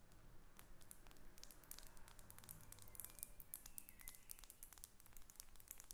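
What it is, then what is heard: Glass perfume bottle. A faceted glass perfume bottle with a metal cap is held above papers and turned in the hands while long nails tap and scratch the glass. A quiet, rapid stream of sharp, bright ticks and scrapes runs over a soft low rumble, with faint brief tones near 2 kHz in the middle of the clip.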